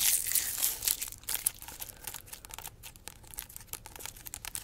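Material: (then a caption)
Pineapple rind. Long nails scratch and tap the rough, scaly rind of a large, solid whole pineapple held in both hands, working over it and down to the base. The sound is dense, bright, crackly scratching with quick irregular taps, loudest in the first second and a half before settling to a quieter, steady rasp.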